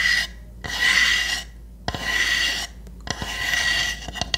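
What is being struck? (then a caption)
Small pine wood hamster house. Long nails scratch and tap the roof of a small, hollow pine wood hamster house with round holes. Bright, raspy scratching strokes come in bursts of about a second, separated by brief pauses. Sharp, short taps are heard between and after the strokes.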